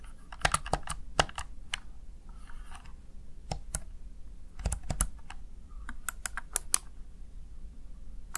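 A small, hollow, backlit plastic Razer Tartarus Chroma gaming keypad is tapped with fingertips and long nails, producing sharp, bright, dry typing clicks that stop instantly. The clicks come in quick irregular bursts over a low, steady background rumble, with a brief softer rustle between them.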